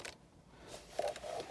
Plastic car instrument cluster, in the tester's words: если потрясти то есть даже слышно этот звук